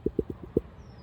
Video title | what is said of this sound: Rambouillet Fleece Part 1 Introduction | if you hear that ping it's a sound fleece if you hear cracking or tearing it's not a good fleece